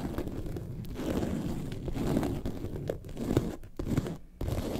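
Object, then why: Faux leather bag. Long nails scratch the top panel near the zipper of a faux leather lemonade-carton bag lying on its side. The result is a steady, dull, crunchy scraping with almost no brightness, broken by a few brief quiet gaps.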